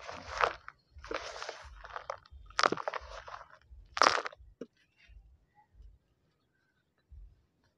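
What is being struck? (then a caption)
Dried mud clump over sandy soil. Bare hands squeeze and crumble a large, solid, dried mud lump over a plastic tub of dry sandy soil with pebbles, letting the grit fall onto the soil below. Dry, gritty crunches come in irregular bursts across the first few seconds, the sharpest ones bright and crackling. The sound then thins to faint trickling and soft low patters as the crumbs settle.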